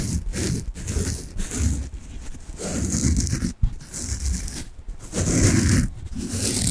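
Long nails scratch and rub a large, peach-colored, porous, squishy soft foam bath sponge with a string loop. The result is a dense, textured scratching and rubbing that comes in bursts with brief pauses, carrying a deep low rumble under a bright, airy hiss.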